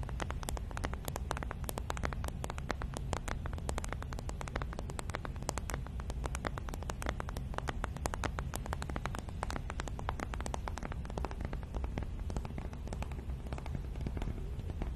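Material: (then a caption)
Cardboard. A small, flat, hollow printed cardboard packaging box, held in both hands, is tapped and scratched with long nails. A rapid, continuous patter of sharp, dry clicks and scratches runs throughout over a steady low rumble.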